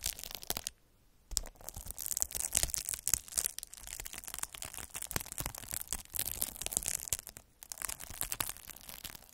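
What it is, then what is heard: Plastic bubble wrap. A metal-needle derma roller is rolled across a large sheet of clear plastic bubble wrap, crushing and pricking the air-filled bubbles. Dense, bright crackling pops and crunches come in rapid bursts, with brief quiet gaps near the start and toward the end.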